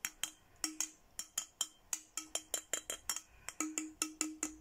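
A clear, empty, hollow glass milk-style bottle of about 20 cm with a printed Hello Kitty design is held in one hand and tapped with a thin red plastic stick. Twenty-one quick, bright clinks sound in an uneven rhythm, each with a short glassy ring over a steady tone near 312 Hz.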